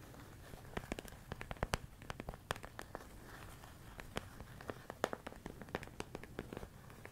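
A medium clear plastic storage container full of rice grains is tapped and scratched with fingertips and nails. Many short, dry, crackly clicks and taps are scattered irregularly over a low, steady background hum, each dying away almost instantly.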